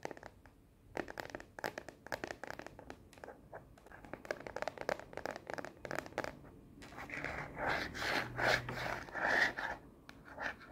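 Long nails rapidly tap and scratch the printed back of a frosted plastic phone case with black edges, fitted on a smartphone held up in the hand. Quick, irregular clicky taps come first, then longer, brighter scraping strokes that swell and fade toward the end.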